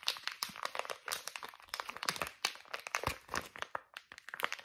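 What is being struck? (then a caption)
Soft plastic pouch of wipes. A small, soft plastic pouch of facial wipes, white with green print, is crinkled, scratched and tapped with fingernails. Dense, bright crinkling and crackling comes in quick bursts, with short, sharp clicks and almost no low end. Each sound dies away almost immediately.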